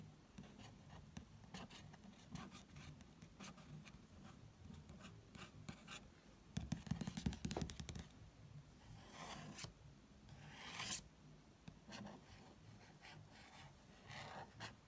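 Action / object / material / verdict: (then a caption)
scrape / glossy paper magazine cover / glossy paper / none. A fingertip with a short nail traces the cover image of a National Geographic magazine with a thin, glossy paper cover. Quiet, irregular scratchy rubbing strokes carry a low rumble, with a louder crackling burst midway and a few bright swishes toward the end.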